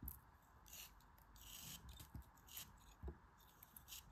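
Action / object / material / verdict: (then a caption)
scrape / kinetic sand block cut with a metal blade / kinetic sand / none. A small solid block of grey kinetic sand held in the fingers is sliced and scraped with a metal craft knife blade, with crumbs falling off. Soft, irregular bright scratchy rasps and gritty crunches come and go over a quiet low rumble, with a few sharper crumbly ticks.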